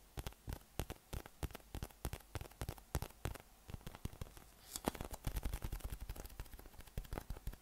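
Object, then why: Inflated PVC massage ball with nubs. A yellow, hollow, inflated PVC massage ball with raised nubs, about 20 cm across, is held in the hand and tapped and rubbed with the fingertips and thumb. The result is a quiet, steady stream of dozens of quick, dry, muffled taps with almost no ring, mostly low in tone. Crackly, rustling friction fills the gaps between the taps.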